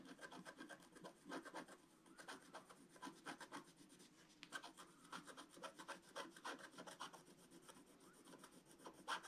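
A wooden stylus scratches and rubs across a flat black-coated scratch-art card lying on a table, clearing out a tree trunk area. Quick, uneven rasping strokes repeat one after another, each a short dry scrape with bright, airy hiss over a soft low-mid body.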